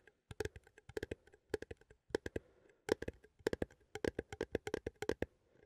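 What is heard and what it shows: A small cylindrical metal coffee tin held in both hands is tapped with fingertips and nails on its lid and side. Around 28 quick, dry clicks and taps come in uneven bursts with short pauses. Each tap has a hollow tone near 440 Hz and a bright tick, and dies away almost at once.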